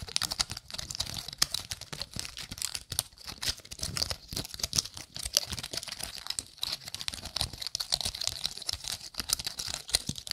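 Long nails flick and scratch the woody scales of a gold-painted pine cone, making a steady run of dense, dry, clicky taps and scrapes. The sound is bright and crisp, with each tick dying away almost instantly.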